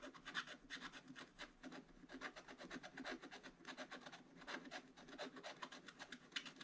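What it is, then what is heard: Scratch-art paper being scratched. A wooden stylus scratches quick back-and-forth fill strokes into a black coated scratch-art paper page in an open book, filling in a gift box. The result is a steady run of dry, raspy scratching bursts, bright and papery with a hiss centered near 3 kHz and almost no low end.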